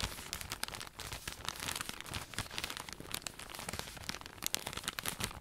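A long cylindrical roll of cotton pads in thin crinkly plastic packaging is held upright while fingertips and nails scratch and squeeze the plastic wrap. The result is a dense, continuous run of bright crinkling and crackling with sharp, quickly fading scratches throughout.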